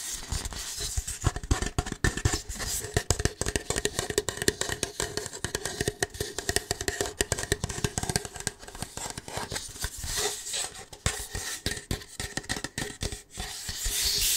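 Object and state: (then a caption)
Plastic party cup, rubbed and tapped. An empty, hollow red plastic party cup is held in the hand and rubbed and tapped with fingertips and nails. The result is a dense stream of quick, dry plastic taps and crinkly scratching with a hollow resonance near 400 Hz and bright, high-frequency edges.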